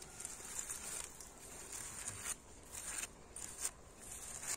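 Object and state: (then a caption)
Old brick wall. Fingertips and nails tap and scratch across an old, weathered, solid red brick wall with white mortar joints, working over the bricks and mortar lines. The result is a quiet, bright, dry rasping texture in uneven bursts, with short sharp ticks that die away almost instantly and very little low end.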